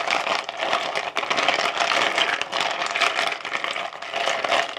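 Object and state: Ice cubes stirred in a plastic bowl.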